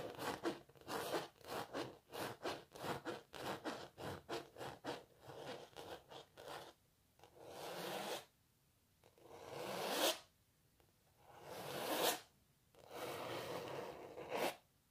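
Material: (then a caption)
Canvas. Long natural nails scratch across the surface of a canvas painting of a cellist. A quick run of short, dry scratching strokes gives way to slower, longer scrapes that swell into bright, hissing rasps and cut off sharply.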